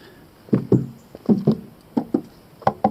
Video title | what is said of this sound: VW Lupo GTI review | give it a tap. You'll hear the difference.